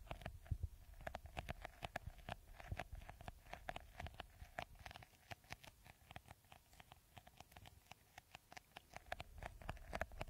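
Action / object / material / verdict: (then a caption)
scrape / plastic bottle with beaded coating / plastic / none. Fingertips and nails rapidly scratch the green bead-textured top of a clear, hollow, hand-sized plastic bottle. The result is a dense stream of quick, crisp clicks and taps with a soft low thump beneath them and a faint hollow ring around 660 Hz.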